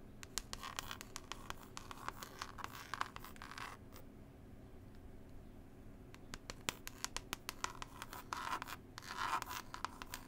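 Long pointed nails scratch and tap a small, flat, book-style CD case with a textured cloth cover and a printed picture panel. Soft, rasping scratch bursts are broken by sharp, dry taps over a faint steady low hum. There is a quieter pause in the middle, then the scratching grows louder toward the end.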